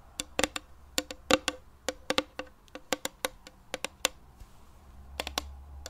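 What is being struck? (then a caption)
Small round metal tin. Long dark fingernails tap and scratch the lid and sides of a small, closed, round metal tin of thinking putty with a printed red "Intelligente Knete" label. About twenty short, sharp, bright metallic clicks come in an irregular, typing-like rhythm. Each click dies away almost instantly, with a faint scratchy rustle between them.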